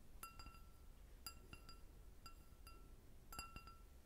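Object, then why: Stemmed glass goblet. An empty clear glass goblet with a short stem is tapped and scratched with long nails. Bright, glassy clinks sound in small clusters over a low background rumble, each clink ringing briefly with a clear high tone.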